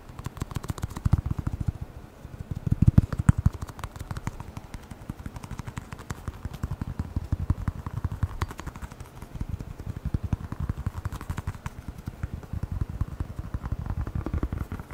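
A hand-sized, hollow black rubber air blower bulb with a thin nozzle is held in front of a microphone and tapped quickly with the fingertips and nails. It makes a fast, continuous stream of short, dull, low-pitched thuds with faint sharper clicks, a little louder around the third second.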